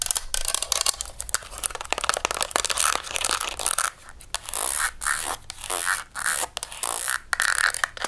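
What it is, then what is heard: Plastic and metal stapler. A beige desktop stapler with a hollow plastic shell over metal is tapped and scratched on its top and bottom with long nails. Rapid, crisp clicking taps mix with bright, dry scratching, with almost no low end and no ring after each tap.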